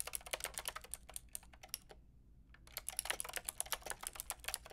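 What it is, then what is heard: Plastic mechanical keyboard being typed on. Long painted nails and fingertips tap the keys of a white-pink backlit plastic mechanical keyboard with round plastic keycaps. A fast run of bright, clicky keystrokes pauses briefly near the middle, then resumes at the same pace.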